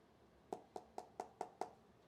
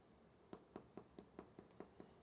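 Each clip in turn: First: solid-sounding smartphone glass back. Second: hollow-sounding phone back.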